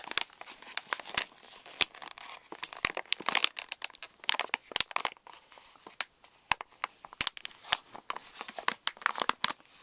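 A pink Reese's candy pouch made of plastic foil laminate lies on a wooden table while fingertips and flat hands crinkle it and press it flat. Dense, bright crinkling and crackling fill the clip, with frequent sharp snaps that stop instantly and almost no low-end weight.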